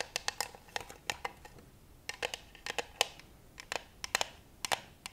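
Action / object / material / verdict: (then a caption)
tap / glass vase with flower stems / glass / none. A clear glass vase of pink and white tulips, tied with a pink ribbon, full of stems and possibly water, is held in one hand close up while long white acrylic nails tap and scratch its side. About twenty quick, bright clicks with almost no ring come in irregular clusters over a faint hiss of scratching, all high-pitched with very little low end.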